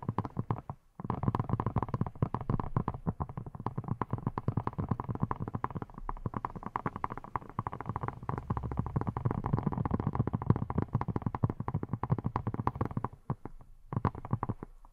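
Long nails rapidly tap and scratch a hand-sized yellow silicone pineapple-shaped brush with a textured surface that appears hollow. The result is a dense stream of soft, muffled, low-pitched clicks and rubbery thuds. The stream pauses briefly near the start and again near the end.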